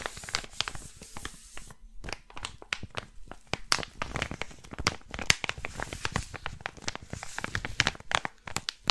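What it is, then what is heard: Crinkly plastic packet. A flat blue crinkly plastic packet, empty or thin, is held in one hand and crinkled and scratched with fingertips and nails. It makes a dense run of sharp, bright crackles and crisp snaps with scratchy rustling between them. The sounds die away almost instantly, with a short quieter gap near the two-second mark.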